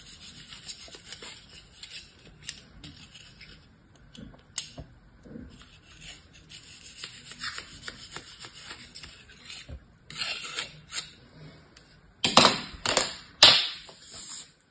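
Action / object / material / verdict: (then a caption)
scrape / packed kinetic sand in a plastic mold / kinetic sand / none. A bear-shaped block of beige kinetic sand, packed in a yellow plastic cookie-cutter mold and held in one hand, has its edge scraped and sliced with a metal utility-knife blade with an orange handle. Soft, bright, gritty scraping and rasping continues quietly through most of the clip, then three louder crunchy cuts through the compact sand stand out near the end.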